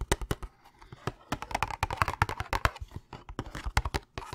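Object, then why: Cardboard candy box. A hollow Thin Mints cardboard box is held up close to the mic and handled and tapped with fingertips and nails. The result is a quick, irregular run of dry, short taps with a low, thumpy body and papery clicks that die away almost instantly. Soft rustling handling noise fills the gaps between them.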